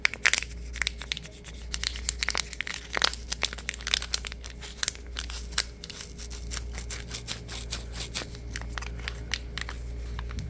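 A small paper sugar stick packet with red ends, full of granules, is squeezed, crushed and crinkled between the fingers. Dense, bright crackles and crinkles snap in quick succession over a steady low hum and a faint constant tone.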